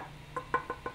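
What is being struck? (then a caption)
3D-printed plastic axe head. Four short, hollow knocks on the 3D-printed plastic head of an axe replica, which has a wooden handle. Each knock is a quick, dry tap with a mid-pitched tone that dies away almost immediately. The sound is plainly plastic rather than wood.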